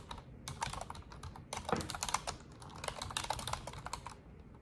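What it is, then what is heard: Plastic computer keyboard being typed on. Long orange nails and fingertips type continuously on an Asus desktop keyboard with black plastic keycaps and a silver frame. Quick, dry plastic key taps and clicks follow one another in an uneven, steady stream, each fading almost instantly with a bright edge.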